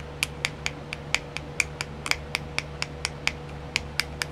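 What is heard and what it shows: Long nails tap a small, round, clear plastic nail art wheel with its compartments filled, giving 17 short, sharp, bright clicks at a fairly even pace. Each click is crisp with a quick decay, over a faint steady low hum.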